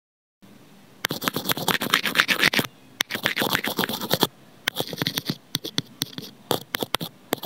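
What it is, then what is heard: Plastic earphone inline microphone. Scissor blades scrape and scratch across a small white hollow plastic inline microphone on an earphone cable lying on cardboard. Heard up close, the result is a fast, uneven run of dry, bright scratches and clicks with dense raspy bursts and short pauses between them.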